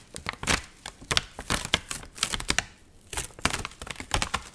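A dried, water-wrinkled magazine page printed with an onion photo is curled, bent and crinkled with fingertips and nails. The result is a rapid, uneven series of crisp, dry crackles and snaps, bright and papery, around 3.4 kHz, with very short decays and brief quiet gaps between bursts.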